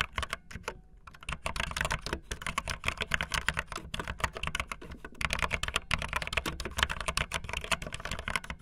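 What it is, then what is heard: Plastic mechanical keyboard. Fingertips with long nails type fast on a backlit optical linear plastic mechanical keyboard with white and blue plastic keycaps. The result is a dense, continuous stream of quick, clacky keystrokes with bright plastic clicks over a low thock, each dying away almost instantly.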